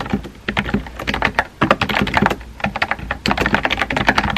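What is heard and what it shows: Fingertips type on a compact pink plastic keyboard with round white keycaps, making a quick, irregular run of crisp, bright clacks. Each tap is short and dry with a faint low thump underneath, and there are brief pauses between bursts.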